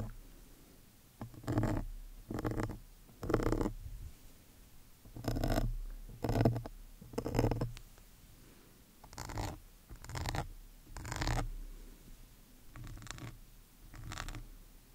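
A metal awl needle with a yellow wooden handle is scraped across the side and top of a large, soft, porous black foam windscreen on a studio microphone. Eleven separate bursts of low, muffled, rough scratching are heard, each about a second long, with quiet gaps between them.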